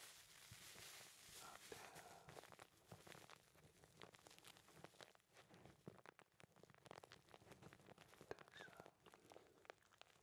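A small filter-paper tea bag filled with dry tea leaves, its string hanging down, is held close and rubbed and squeezed between the fingertips of both hands. It gives a quiet, continuous soft crinkling with dense, brief, bright crackles and rustles throughout.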